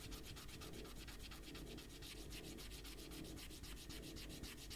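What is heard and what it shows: A small eraser rubs back and forth over a pencil drawing on a stack of thin white printer paper sheets on a desk, held flat with one hand. The result is a steady, rhythmic scratchy rubbing with quick bright hissing strokes over a soft low rumble, at an even, quiet level throughout.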